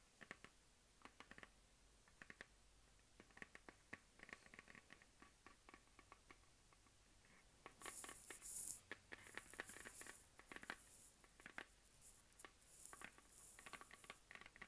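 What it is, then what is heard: Plastic desk globe. A medium hollow plastic map globe on a dark stand is tapped and scratched with fingertips and long dark-painted nails by both hands. Quick, light, dry taps click and patter with short decay. From about eight seconds in, louder, bright scratching hiss mixes with the continuing taps.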